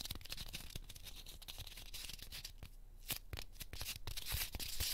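A small, solid, pink heart-shaped corn starch foam cushion from a 100-yen shop is pinched and crumbled with fingertips and nails, leaving small fragments between the fingers. The sound is a dense, irregular run of bright, dry crackles and crunches with soft low thumps underneath, growing busier and louder toward the end.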